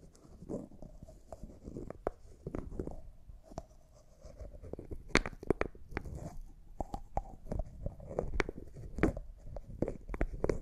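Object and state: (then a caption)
Small glass jar with plastic lid. A small, empty, clear glass cosmetic jar's white plastic lid is twisted and scratched with nails. The sound is a soft, dry scratching and grinding with a low rumble underneath, broken by many sharp, brief clicks that grow busier and louder in the second half.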